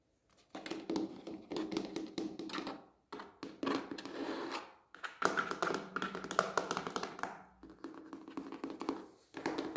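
Fingertips and short nails tap rapidly on the side and rim of a medium rectangular red plastic planter with hollow walls, filled with soil and a plant. The light, dry, hollow taps come in quick bursts separated by brief pauses, with a mid-range body, some brighter clicks, and almost no ring after each hit.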